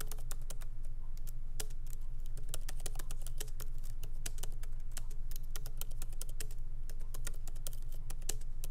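Fingertips of both hands tap lightly on the black plastic keycaps of a MacBook Pro laptop keyboard in an aluminum body, resting on a wooden desk. Quick, irregular, sharp clicks with almost no ring ride over a steady low hum.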